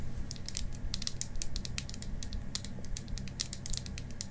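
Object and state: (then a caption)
Wooden mascara tube tapped with nails. A small, hollow, cylindrical pink painted wooden mascara tube, held horizontally in both hands in front of a mannequin face, is rapidly tapped and scratched with long green acrylic nails. The result is a quick, irregular run of crisp, dry clicks and scratches over a steady low hum.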